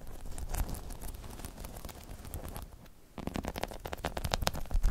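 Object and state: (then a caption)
Spiky rubber balance pod. Long chrome nails scratch and tap over the top of a hollow, spiky rubber half-dome balance pod. There is a dense, low, rumbling crackle of scratching, a brief quieter lull, then sharper, louder taps with bright clicky edges.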